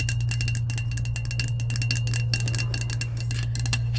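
Long acrylic nails tap quickly and unevenly on the coated side of a hollow, lilac, insulated powder-coated stainless steel tumbler. Each tap makes a bright, clicky metallic tick with a faint ringing tone, all over a steady low hum.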